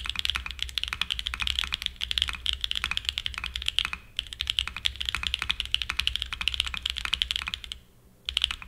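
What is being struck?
Mechanical keyboard with aluminium case and plastic keycaps.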